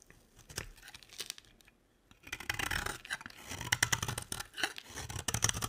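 A box-cutter blade shaves a square, solid beige bar of dry soap held in the hand, cutting it into shavings. Soft, sparse scrapes give way after a brief pause to denser, crisp, bright scraping strokes, each one short and dry with no ring.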